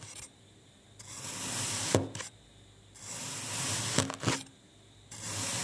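A thin metal knife blade slices repeatedly through a solid pink kinetic sand disc on a white glossy surface, cutting it into parallel strips. Three long, steady strokes of bright, gritty scraping hiss through the packed sand are heard, separated by near-silent pauses. Sharp clicks mark the ends of the cuts.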